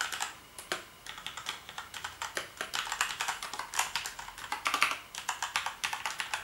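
Fingertips type steadily across the keys of a black plastic gaming keyboard for about six seconds. The result is a rapid run of dozens of short, bright plastic clicks and clacks that die away almost instantly, with no low-end thump beneath them.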